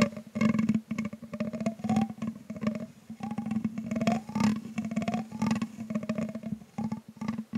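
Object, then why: Metal mesh microphone grille. The tip of a thin grey stick repeatedly scratches and taps the hollow metal mesh grille of a microphone with a green LED, while the other hand holds the stand. Quick, dry scrapes and taps come in dense bursts over a steady low hum. Short rising, whistle-like tones ring out from the grille.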